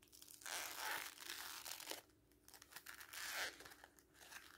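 A red-and-white printed strip of glossy magazine paper, held between fingers, is torn and crumpled by hand. It makes bright, crisp crackling and ripping in two main bursts separated by softer crinkling. The sound is quiet and dry, with almost no low end.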